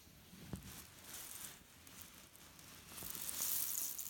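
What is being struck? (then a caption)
Cotton pillow filled with cherry stones. A hand squeezes a grey leaf-print cotton pillow filled with cherry stones, then lifts one corner and shakes it. The pits give a dry, bright, shuffling rattle that swells toward the end, with a few soft low thumps.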